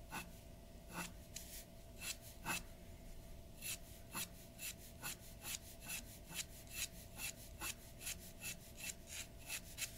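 A glass dip pen's nib scratches across a large flat sheet of white drawing paper resting on a wooden table while filling in dark areas. It makes a steady series of short, bright, raspy strokes over a soft hiss, with a high scratching tone.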